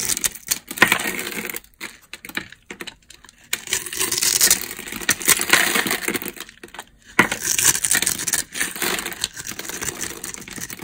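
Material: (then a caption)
Soap. A solid, palm-size rectangular bar of dry pale yellow soap with a grid-scored surface is scraped and cut with a utility knife blade. Bursts of dense, crisp scratching and crumbling crackle sit mostly in the high range with little low end, separated by brief quiet pauses.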